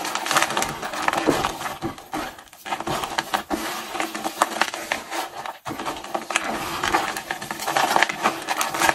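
Gloved hands in pink rubber gloves crush, squeeze and rub a pile of dry, brittle pink and blue soap flakes and chips, cut from Duru 1+1 ocean and grapefruit bars, then press them flat against a beige surface. The result is a dense, steady stream of crisp crackling and crunching, bright and dry with almost no low end. There are brief pauses just before the three- and six-second marks.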